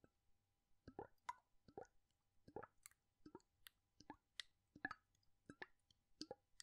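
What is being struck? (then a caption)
Plastic bottle with liquid. A clear plastic cosmetic bottle with a white cap, partly filled with orange liquid, is gripped by the fingertips in one hand and tilted and shaken so the liquid sloshes inside. A steady series of soft, wet plops and gurgles is heard, each short and bubbly with a bright, watery edge and almost no ring. The result is a quiet, rhythmic pattern of liquid sloshing against the plastic.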